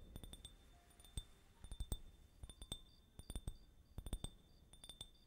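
A small, empty, hollow clear glass tumbler, held up in one hand, is tapped with fingertips and nails, and possibly with a small gold-colored tool held in the other hand. The taps come in quick, irregular clusters of short, bright clinks that die away almost at once, over a faint low rumble.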